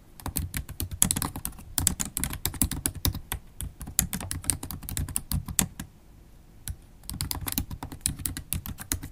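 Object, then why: Laptop keyboard with plastic keys. Long holographic acrylic nails tap the black plastic keys of a MacBook Pro laptop keyboard in steady typing. Dense, quick clicks each have a low thump and a bright, crisp tick, with a brief pause around the six-second mark before the typing resumes.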